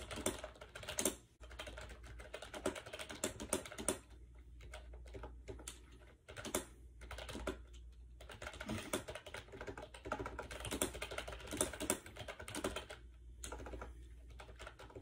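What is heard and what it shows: A compact gray plastic AJAZZ 308i wireless Bluetooth keyboard with round keycaps and a hollow shell, resting on a bed, is typed on rapidly with fingertips. Dense bursts of short, hollow plastic clicks and taps run throughout, with a few brief lulls, over a steady low hum.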